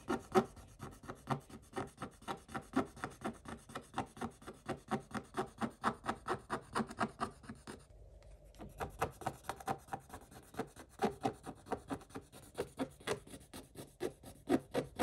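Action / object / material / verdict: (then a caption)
scrape / scratch-off coated paper page scraped with a wooden stick / coated paper / none. A wooden stick scrapes the coating off a scratch-off coated paper page of a scratch-art book in rapid, rhythmic rubbing strokes, about two per second. Each stroke gives a short, dry, papery rasp, mostly mid-range with a bright edge. The strokes pause briefly near the middle before continuing steadily to the end.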